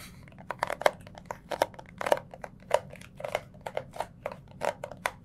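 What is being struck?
Small cardboard box.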